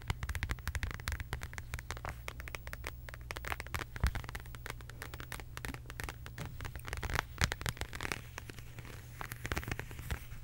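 A medium, flat, hollow beige quilted faux leather zip wallet with an embossed heart pattern is tapped and scratched with long acrylic nails. Rapid, dense crackly taps and scratches run throughout, each one short and dry over a steady low hum.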